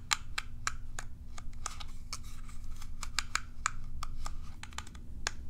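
Long nails scratch and flick along the bristle rows of a small, hollow, curved plastic cat self-groomer brush. The result is a rapid, irregular series of sharp, dry plastic clicks and ticks, bright and crisp with a tone near 1.2 kHz. They sit over a steady low hum throughout.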